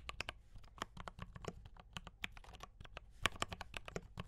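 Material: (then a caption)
Plastic. Fast fingertip typing on a D84 mechanical keyboard with brown switches and cream and red plastic keycaps. A rapid, uneven run of about two dozen short, bright clacks, each with a dull low thump beneath it and almost no ring.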